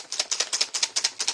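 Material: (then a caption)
Plastic. An acrylic paint marker is shaken, and the small mixing bead inside rattles like a spray paint can, showing the marker holds paint. About ten sharp, bright, dry clicks come in quick back-and-forth pairs with almost no low end.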